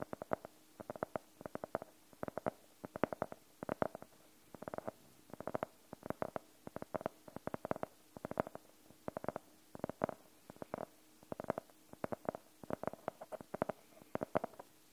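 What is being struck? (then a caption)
Faux-leather hardcover notebook. Fingernails of both hands tap on the cover of a closed, solid navy faux-leather hardcover notebook. The quick, dry, hollow clicks come in short flurries around a mid pitch near 600 Hz. Each tap dies away almost instantly, with steady quiet gaps between bursts.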